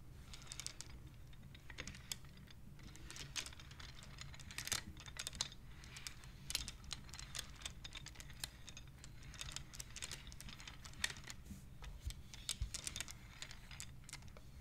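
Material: Wood.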